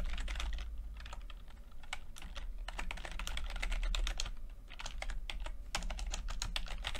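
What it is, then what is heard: Plastic computer keyboard being typed on. Fingertips of both hands type continuously on a full-size plastic computer keyboard with red and blue backlit keys and low-profile keycaps. The result is a fast, irregular stream of short, bright key taps over a steady low hum.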